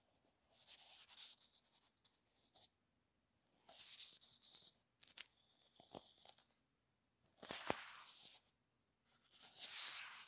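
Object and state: Plastic earphone inline remote brushed.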